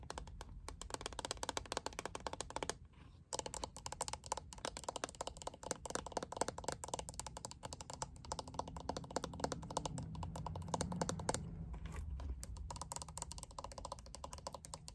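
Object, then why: Plastic paddle hairbrush. Long nails tap and scratch across the plastic back and handle of a handheld purple plastic paddle hairbrush with a liquid-glitter back panel as it is turned in the hands. The result is a dense run of quick, dry, clicking taps mixed with soft scraping, with a brief pause near the three-second mark before the tapping resumes.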